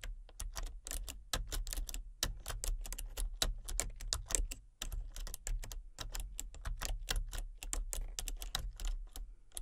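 Fingertips type rapidly on a full-size plastic computer keyboard with a colour-changing backlight, producing a steady stream of quick, bright, clicky key taps. Each tap is short and dry, over a constant low hum, with brief pauses in the rhythm.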